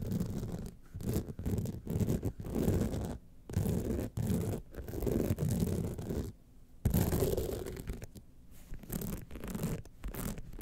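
Long nails scratch across the rhinestone face and sides of a small gold rhinestone-covered clutch wallet standing upright. Dense, gritty rasping comes in short bursts separated by brief pauses, with a muffled, low-heavy tone.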